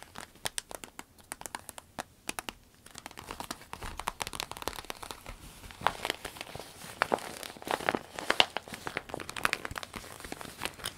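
Long nails scratch a small, empty, clear orange vinyl zip pencil case with a smiley print while hands flex and squeeze it. The result is a dense, bright run of quick crinkles, scratchy clicks and crackles that scatter like rain, with a faint, quiet background.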